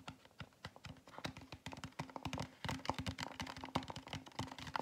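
A large, hollow styrofoam fast-food drink cup with a plastic dome lid and straw is tapped with fingertips and nails on its foam side. A quick, uneven run of short, dry taps and clicks follows, each with a brief hollow low tone that dies away almost instantly.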